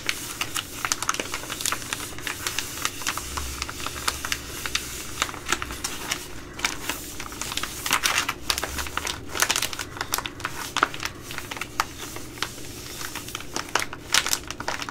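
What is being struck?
Plastic laminate food pouch.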